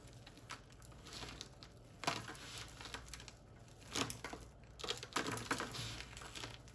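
Both bare hands scoop up crumbled, dry, white-ivory bar soap chunks and flakes from a pile on a wooden surface, then squeeze and crumble them between the fingers and palms. Dry crinkling and crunching bursts come in clusters over a quiet background, with bright crackle. The bits patter back down onto the pile.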